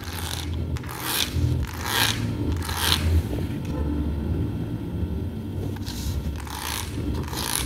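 Fingertips and long nails rub and scratch across a clear plastic sheet of colorful adhesive plastic half-pearl stickers lying flat on a carpet. Bright, raspy scraping bursts come in rough, uneven strokes over a steady low rumble, with a quieter stretch in the middle before the scratching picks up again at the end.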